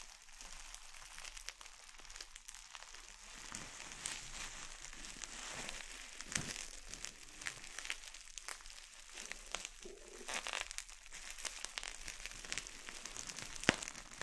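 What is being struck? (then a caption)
Plastic bubble wrap. A wad of clear plastic bubble wrap is twisted and squeezed between fingers and thumbs. A steady, quiet, bright crinkling of the plastic carries through, broken by many sharp little pops as bubbles burst, with one louder snap near the end.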